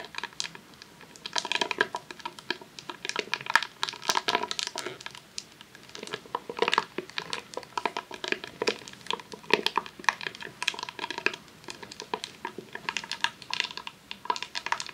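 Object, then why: Rolled vinyl sheet in a plastic sleeve. Long nails tap and scratch a long roll of vinyl adhesive sheet in a clear plastic sleeve resting on a tablecloth. Dense, crisp crinkles and clicky taps come in uneven bursts throughout, bright and papery with almost no low end. Each sound dies away almost instantly.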